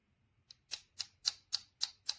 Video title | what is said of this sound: Produktbewertung PGYTECH Bettle Kameraclip, Kamera Rucksack Clip am Schulterriemen oder Gürtel, zum | it feels a little bit plasticky